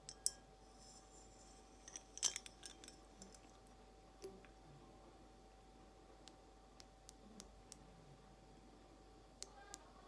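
An empty, hollow clear glass carafe vase is rotated in the hands and tapped with long acrylic nails. Soft, short, bright clicks and ticks come at an uneven, unhurried pace over a quiet background, each dying away almost instantly, with a few sharper taps standing out.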